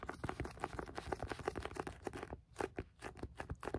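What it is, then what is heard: Paperback book tapped with fingertips. Fingertips tap the card cover of a Penguin Classics paperback book in a quick, uneven run of soft, dull, papery taps. Each tap is short and dies away almost at once, with a muted low-mid thud.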